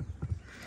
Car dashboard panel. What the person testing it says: You're going to hear that as you're driving. That tapping noise.